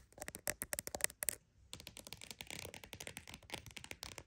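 A croc-embossed purse is tapped and scratched with rapid, dry clicks and scrapes that are bright and crisp. A burst of quick taps gives way to a brief silence around the middle. Then a denser run of scratching and tapping continues to the end.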